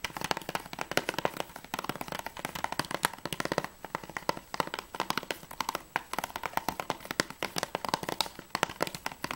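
Fingertips and nails tap quickly on the plastic sleeve of an Assassin's Creed III PS3 game case, held upright with its back cover facing out. The result is a dense, continuous run of short, dry plastic clicks and ticks, centred in the midrange with bright edges and almost no low end. Each tap dies away almost instantly.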